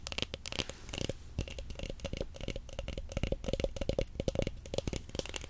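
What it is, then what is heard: Roll of plastic stretch wrap. Long nails tap rapidly on a large roll of clear plastic stretch film, wound in solid layers on a cardboard core and held horizontally. The quick, dull taps are short and dry, with a recurring tone near 540 Hz, a bright clicky edge and soft rubbing between strikes.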